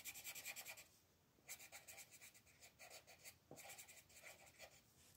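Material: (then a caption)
Paper. A colored pencil rubs back and forth in quick shading strokes near the center of a thin paper mandala coloring page lying on a table, while the other hand rests on the sheet. The result is a soft, bright, dry scratching made of rapid rhythmic bursts, with a short pause near the middle before the strokes resume.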